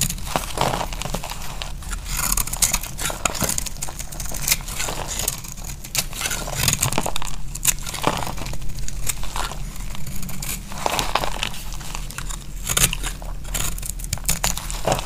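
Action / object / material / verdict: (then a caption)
scrape / bar of soap shaved with a knife / soap / none. A knife blade shaves brittle flakes off a dry, solid pink oval soap held in the hand. Dense, rapid crackly scraping and crumbling sounds repeat throughout, with a steady low hum underneath.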